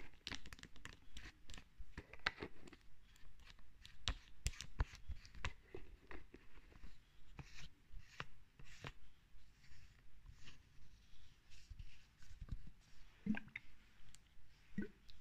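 Long red acrylic nails tap and scratch along the green cap and body of a medium pearly-white plastic lotion bottle held in the hand. Quick, dry, muffled clicks and rasping scrapes come in an uneven stream over fifteen seconds, with short bright scratchy bursts in between.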